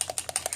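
A small plastic bottle of shimmer paint is shaken to mix it, and the mixing bead inside rattles against the walls. Six quick, bright, clicky rattles come in a steady rhythm, each dying away almost at once.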